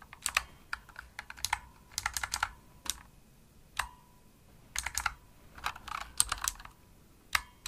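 Long nails and fingertips type fast on a pink plastic Razer mechanical keyboard with backlit keys and a hollow body. Sharp, bright clicky key presses come in quick bursts separated by short pauses. Some presses leave a brief hollow ring.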